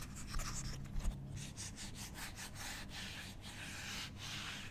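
A hand-sized, pastel pink and blue octagonal silicone pop it with hollow bubbles is held in one hand and tapped and scratched with the long nails of the other. Soft, bright scratching and rubbing strokes run throughout, with a few quick taps near the start, over a steady low hum.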